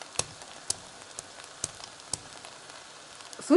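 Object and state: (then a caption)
Plov rice still wet, water not yet absorbed. Someone taps the surface of rice cooking in a kazan for Uzbek plov, giving four sharp, short ringing taps over a steady sizzling, bubbling background, with a louder burst at the very end. The taps sound ringing rather than dull, showing the water has not yet been absorbed by the rice.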